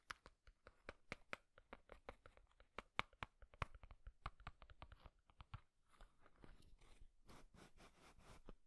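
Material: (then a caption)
Cardboard. A small, hollow printed cardboard matchbox with a green and red label is held in one hand while the fingertips and nails of the other tap and scratch its surface and edges. A quick, irregular run of crisp, dry taps in the first half gives way to denser, hissy scratching toward the end, all at a quiet, close level.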